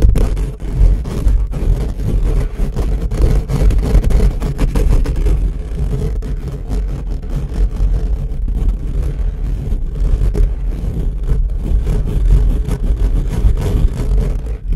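Both hands rapidly scratch and rub the hollow steel-mesh grille of an upright microphone with fingertips and nails. The result is a dense, continuous, boomy low rumble of scraping and thumping that stays steady and loud throughout, with little high-end content.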